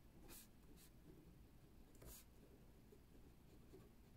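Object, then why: Ballpoint pen on a spiral paper notebook. A metal ballpoint pen, held in a hand with painted nails, writes on the page of an open spiral-bound paper notebook with metal coils lying on a wooden table. Soft scratching strokes come in short bright bursts over a low, steady rumble. The sound stays quiet throughout.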